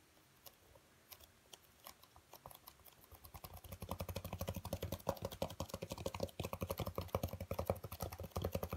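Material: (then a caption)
Foam. Fingertips rapidly tap and scratch a dark speckled black foam packing insert with cut-outs, held up and turned in the hands. Sparse, soft taps at first build after about three seconds into a dense, fast run of dull, low, padded ticks with a faint mid-range tone, each dying away almost instantly.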